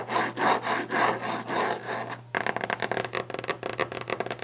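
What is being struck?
Wooden desk surface.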